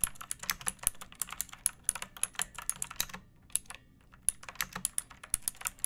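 A pink plastic mechanical keyboard with round backlit keycaps and a hollow body, resting on a wooden surface, is typed on with long painted nails and fingertips. It gives a steady run of about 36 sharp, bright clicks and clacks, with a short pause partway through before the typing resumes. Each keystroke stops almost instantly with a hollow plastic tone.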